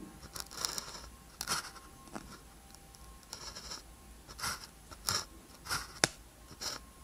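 A blue ballpoint pen tip scratches across a thin white paper practice sheet with a red grid, lying flat, while writing characters. Quiet, dry, bright scratchy strokes come in short separate bursts with quick pauses between them, each stopping almost at once with no ring.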